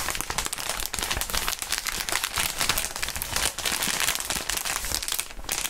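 Gloved fingers squeeze and crinkle a clear, inflated plastic air column cushion wrap. The result is a dense, continuous stream of bright, crackling crinkles with rapid sharp snaps, mostly high-pitched with little low end, and a brief quieter dip near the end.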